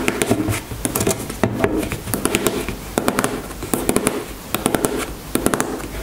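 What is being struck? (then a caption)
Plastic squeeze tube. Long nails tap and scratch a white plastic squeeze cosmetic tube lying on a table. Quick clusters of sharp, bright plastic clicks come in bursts over a soft, continuous scratching hiss, each tap dying away almost at once.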